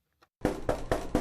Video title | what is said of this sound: Information Radio on CBC News MB October 7, 2024 - Today's top stories - Winnipeg News & Weather | if you knock on it you can hear that tin sound